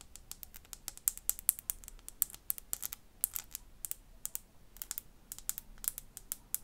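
A small glass bottle is tapped and scratched with fingernails, producing a rapid series of about forty sharp, bright, high-pitched clicks and ticks. Each one dies out almost instantly over a quiet background.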